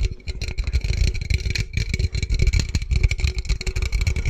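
Fingertips and nails rapidly tap and scratch the sides of a small, hollow, handheld red aluminum beverage can held close to the microphone. The result is a dense, fast stream of boomy low thuds with a faint bright metallic tone and scratchy clicks riding over them.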